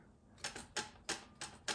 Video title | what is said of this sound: Rebuilding TH350: Setting up the Intermediate Clutch | So you hear that? That's the clutch pack moving.